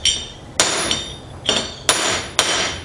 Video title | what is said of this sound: TRAILER REPS 003 | You can hear the difference. Hear that metallic sound. She's now seated. Yep, fully seated.